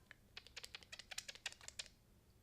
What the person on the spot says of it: I'm like shaking it everywhere it's kind of thin